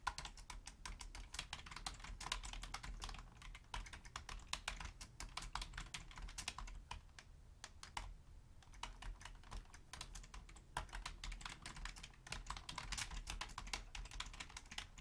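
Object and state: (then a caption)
Plastic computer keyboard. Fast typing with long painted nails and fingertips on a hollow black Logitech plastic keyboard makes a steady stream of sharp, dry clicks and clacks with a bright clatter over a soft low thump. The taps are dense and quick and die away almost instantly, with a brief lull near the middle.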